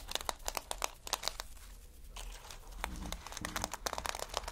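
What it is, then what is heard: Plastic sequin fabric being rubbed. Fingers rub and scratch over a reversible flip-sequin sheet of plastic sequin fabric, making a rapid series of bright, crinkly clicks and scratchy rustles. The sound thins to a soft brushing hiss midway before the sharp ticking resumes, with each click dying away almost instantly.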